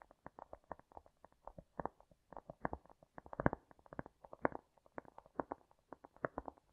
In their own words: Today I am tapping and scratching cork (I Love this sound).